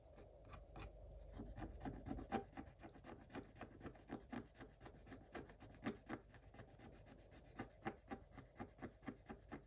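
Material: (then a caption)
Coated paper. A thin wooden stylus scratches rapidly across a black coated scratch-art paper page in a spiral book. It makes a quick, uneven run of short, dry rasping strokes with bright, crisp edges and little ring.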